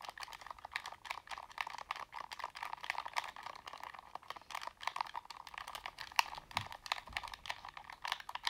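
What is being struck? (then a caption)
Plastic game controller. A black plastic Sony game controller is held in both hands, tapped with fingertips and nails while its buttons are clicked. The result is a quick, steady stream of dry, crisp plastic clicks and taps centered in the mids around 940 Hz with bright edges. Each tap stops almost instantly and there is little low end.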